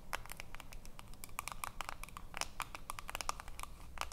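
Long nails scratch along the ridged edge of the aluminium screw lid on a small filled glass jar. The result is a rapid, dense run of short, dry scratchy clicks with a bright hiss and a faint metallic tone around 1.2 kHz, steady from start to finish.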